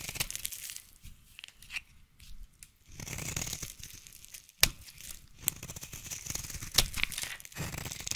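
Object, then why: Bar of soap under a knife blade. A utility knife blade scrapes and cuts a solid orange bar soap held in the hand, piling up shavings. The clip is a series of dry, bright, crinkly scraping strokes in irregular bursts, with a few sharp crisp snaps standing out above the steady rasp.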